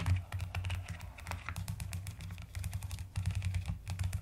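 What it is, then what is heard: Plastic mechanical keyboard. A full-size mechanical keyboard with a white case and pastel pink, purple and white plastic keycaps is typed and tapped rapidly with long acrylic nails and fingertips. It makes a dense, steady stream of short, clacky keystrokes with a deep, rounded low thump under quick, bright tapping.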